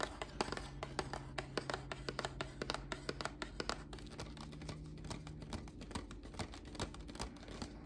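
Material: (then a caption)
Cardboard. A small, hollow heart-shaped cardboard gift box with a red rose print, held in one hand, is tapped rapidly with long black nails. The result is a quick, irregular series of short, dry clicks and taps, each dying away almost instantly, over a faint steady low background hum.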